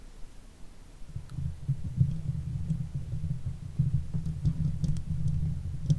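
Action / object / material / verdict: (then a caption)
scrape / steel mesh microphone grille scratched with fingernails / steel mesh / none. Long white fake nails on both hands gently scratch the hollow steel mesh grille of a silver Blue Yeti microphone. The result is a close, muffled low rumble of scraping, almost all of it below 200 Hz, that swells after the first second and carries on unevenly. Faint, sharp clicks occasionally poke through.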